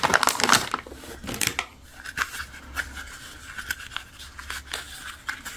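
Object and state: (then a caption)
Plastic toy animal figure. Fingertips and nails rub and scratch over the surface of a small, hollow, soft pink-and-white plastic animal figurine held in both hands. The result is dry, crinkly scratching with bright, sharp ticks, loudest in the first second, with a faint steady tone near 1.4 kHz running underneath.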